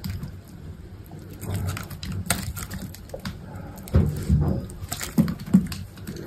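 A utility knife blade carves thin curled shavings from a solid, hand-sized cream-white soap bar. Soft, muffled scraping and crumbly cutting sounds repeat at an uneven pace, mostly low and dull, with brief bright ticks. Several louder, thicker cuts stand out in the second half.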